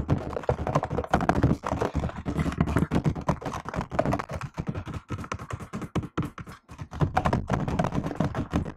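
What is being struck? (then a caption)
Plastic laptop keyboard keys. Fingertips and long nails type on a laptop keyboard with plastic keycaps, producing a rapid stream of short, dry taps and clacks. The taps have a soft, thunky low body, a slight clicky edge and almost no ring. The typing runs nearly continuously, thinning briefly in the middle before picking up again.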